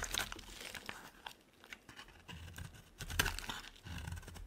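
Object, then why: Bar of soap cut with a blade. A solid rectangular white bar of soap, held in one hand, is shaved with a utility knife blade that peels off curls, and the shavings pile up beside it. The clip is a run of soft, crunchy scraping and cutting strokes with bright crackling edges, some passages louder and crisper than others.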